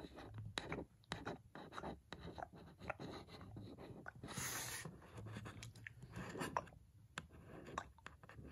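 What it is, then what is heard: Cardboard box tapped and scratched with a fingernail. A long pointed red fingernail scratches and taps across the white printed surface of a cardboard lamp box. Quick, dry taps with very short decay are mixed with soft, bright scratching, including a longer rasping scrape near the middle.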